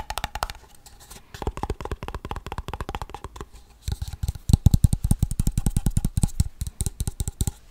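A small, hollow Blue Bell ice cream cup of waxed paperboard with its lid is held close to the mic and scratched and tapped on the sides with fingertips and nails. A rapid run of short, dry, hollow taps with a deep low thump is heard, with faint scratching between them. The tapping grows louder and denser in the second half.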